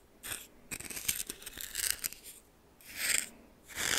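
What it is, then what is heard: Coarse salt scraped in a small bowl. A red plastic spoon held in the fingers stirs and scrapes a pile of white coarse salt in a small bowl that appears to be glass. It produces bright, scratchy crystal scrapes and crunches in irregular bursts, with a longer busy stretch in the middle and fuller swells toward the end.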